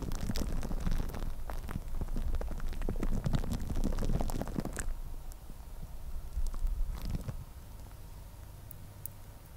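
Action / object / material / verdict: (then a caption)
scrape / plastic cling film stretched over a microphone head / plastic film / none. Clear plastic cling film wrapped tightly over a microphone head is scratched and tapped with long nails, making dense, close crinkling and crackling with a heavy low-end thump. The busy scratching runs for about five seconds, then thins to softer rustles with a brief louder flurry near the seventh second before fading.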